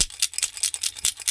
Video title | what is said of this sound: antique's ang aming nakuha sa japanese tunnel | may laman pala ito. Akala ko'y walang laman.